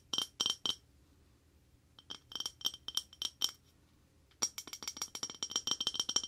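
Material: Ceramic.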